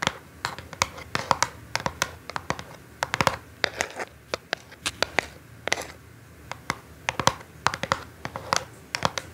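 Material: Cardboard.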